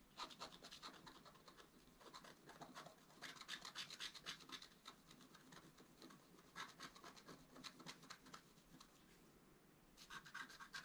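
A wooden stylus scratches the coating around the right squirrel on a flat black wax-coated scratch-art paper card held in one hand. Quick, bright, dry scratching strokes come in rapid bursts with short gaps. The strokes fade to a quiet hiss near the end, then resume briefly.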